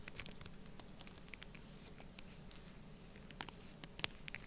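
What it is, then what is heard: Kinetic sand being scratched and poked. A black pointed stylus scratches and pokes into an open mound of orange kinetic sand resting on plastic while the other hand holds the sand. The result is quiet, soft, crackly scratching with fine, brief ticks over a low, steady rumble, and a few sharper, brighter clicks stand out near the end.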